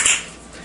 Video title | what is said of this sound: How to Repair Hollow Tiles | The tile has already been repaired.